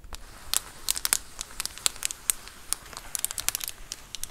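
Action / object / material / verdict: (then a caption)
scrape / plastic bubble mailer / plastic / none. Long acrylic nails scratch and tap the textured bubbled surface of a large white plastic Amazon Prime bubble mailer lying flat. The result is a quick, irregular run of sharp, bright crinkling clicks and scratchy ticks over a soft hiss, each snap dying away almost instantly.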